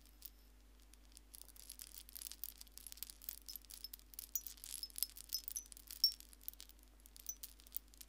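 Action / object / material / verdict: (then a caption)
shake / wind chime of small seashells on strings / shell / none. A hanging wind chime made of many small white seashells on strings is held up by one hand while fingertips and nails touch and jostle the shells. Quiet, bright, dry clinks and rattles come in irregular clusters, with very short ringing and a faint steady hum underneath.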